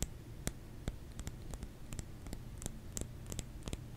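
A solid bar of soap is tapped with the fingers, giving about fifteen short, dry, sharply damped taps with bright clicky tops. The taps sit over a steady low rumble and fade almost instantly.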